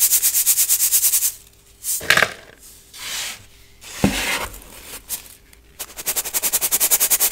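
Baking soda chunks are rubbed and sifted through a gold brass mesh sieve held over a clear bowl. Rapid, rhythmic bright crunchy scraping opens and closes the clip, with louder grinding bursts and softer rustling in between.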